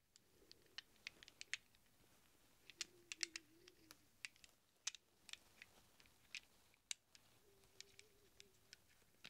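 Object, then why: Small chrome-plated steel sockets. A handful of small, hollow, chrome-plated steel sockets rests in a palm while fingertips rummage through them, producing about two dozen quiet, bright metallic clinks. Each clink is sharp and dies away almost instantly with no ringing. A faint low, wavering tone sits beneath the clinks at times.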